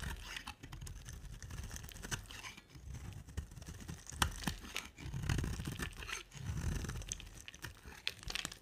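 A solid rectangular white-cream bar of dry soap is shaved into curls with a box-cutter blade, scraping and carving across its surface. Repeated crunchy, crackling scrapes come with a low, dull rumble and sharp bright clicks as each curl breaks away. Longer, heavier scraping strokes swell in the middle of the clip.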